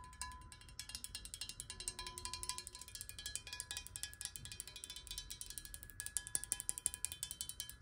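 A clear glass bottle partly filled with water is tapped quickly with long nails, first held upright and then sideways. The taps are rapid, crisp, bright clicks with very short decay. Faint glassy tones ring beneath them at about 1 kHz and 1.7 kHz.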